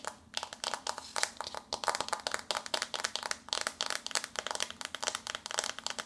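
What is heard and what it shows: A flat, glossy pink paperboard eyeshadow palette is held in both hands while long nails scratch across its front, then tap along its top edge. The sound is a dense run of quick, dry, bright taps and scratchy crinkles with almost no low end and very short decay.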